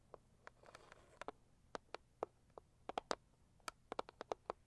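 Long acrylic nails on both hands tap fast on a hollow, medium-sized pink floral Saviland cardboard box. About twenty quiet, dry, clicky taps land in an uneven rhythm, with a brief soft scratchy rustle near the start. Each tap has a hollow mid-pitched knock that dies away almost instantly.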